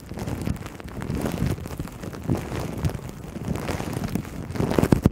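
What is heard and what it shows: Long nails on both hands scratch and tap clear plastic cling wrap stretched over a black microphone. The result is a dense, muffled, low-heavy crinkling rustle with soft thumps, growing louder toward the end.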